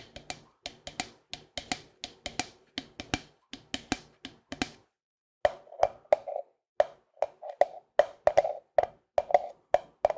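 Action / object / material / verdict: tap / plastic cream tub with lid / plastic / none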